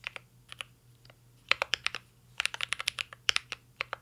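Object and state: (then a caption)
Mechanical keyboard with plastic keycaps. Fingertips type on a mint-green Cyberboard R3 mechanical keyboard with plastic keycaps and a metal case. About 19 short, bright, clicky key taps come in quick bursts separated by brief pauses, each dying away almost instantly.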